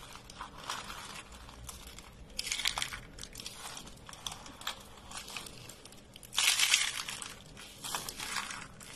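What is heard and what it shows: Fingers squeeze and crush rolled beige soap curls, hollow spirals of thin dry soap. Dense, bright crinkling crackles run throughout, with louder crunching bursts partway through and near the end. There is almost no low end.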